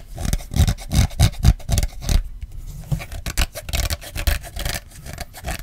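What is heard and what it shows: Fingertips and short nails tap and scratch the back of an iPhone XR, a small, solid handheld phone, in a black rubbery silicone case with a light-blue fabric finger strap with metal ends. Quick, uneven soft thuds mix with rubbing, rasping scratches, mostly low and dull with a brighter scrape on some strokes. Each hit dies away almost instantly.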